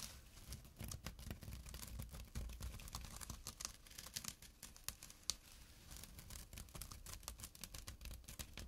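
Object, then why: Small jute burlap drawstring pouch. Short nails scratch the coarse weave of a small, empty jute burlap drawstring pouch resting on dark cloth. Quiet, dry, bright rasping strokes come in rapid irregular bursts over a low rumble, each one cutting off almost at once.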